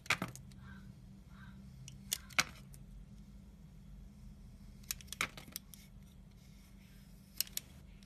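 A yellow utility knife with a black snap-off blade shaves and scrapes thin curls off the edge of a hand-sized, solid white oval bar of soap held in the fingers. Short, crisp, bright scraping bursts come in irregular clusters over a faint, steady low hum.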